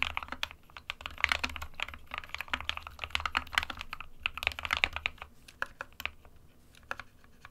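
Fingertips of both hands type on an SK61 compact 60% plastic mechanical keyboard with white and grey keycaps. A rapid, uneven stream of short, bright clacks stops dead with no ring, over a faint low hum. The typing thins out into sparser, softer keystrokes toward the end.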